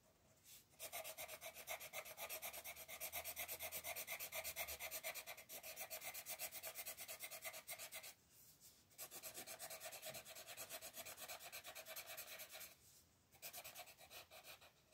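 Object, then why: Wooden colored pencil on a paper coloring page. A green wooden colored pencil shades a paper coloring book page lying flat on a table, while a hand with long painted nails holds the page. Rapid, steady rubbing strokes make a bright, scratchy rasp that runs in long bursts, broken by brief pauses.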